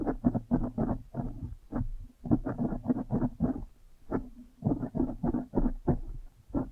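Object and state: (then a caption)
Foam microphone windscreen being squeezed and scratched. A blue foam windscreen on a microphone is squeezed with the fingers and scratched with long nails. It makes a rapid, uneven run of soft, muffled crunching and rustling bursts, with a warm low hum and no bright edge.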